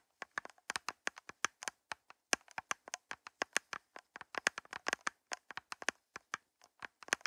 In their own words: 1:42 - Nails Tapping On Plastic Cups